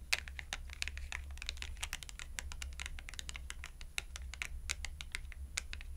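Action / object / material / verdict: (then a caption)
tap / thin cardstock clothing price tag / cardboard / none. Long acrylic nails tap fast on the edge and faces of a thin, purple-edged cardstock clothing price tag held upright between both hands. The result is a rapid, uneven stream of short, dry, bright clicks centered around 2.5 kHz, each dying away almost instantly, over a steady low hum.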